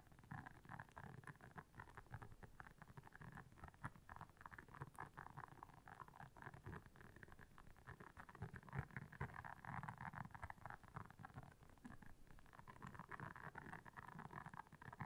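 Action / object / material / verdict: scrape / silicone scrubber pad with soft bristles / silicone / none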